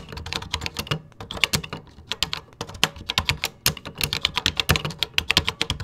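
Fingertips type quickly on the beige plastic keys of a 1980s computer keyboard, producing a rapid, uneven stream of sharp, bright clicks. Each keystroke decays almost instantly, with a soft low thud beneath the click, and there are brief pauses between bursts of typing.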